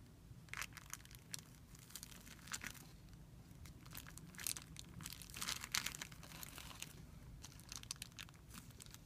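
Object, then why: Thin plastic film bag. Fingertips crumple and rub a thin, clear plastic film bag resting on a white surface. Bright, crisp crinkling comes in irregular bursts over a faint low hum, with each crackle cutting off almost instantly.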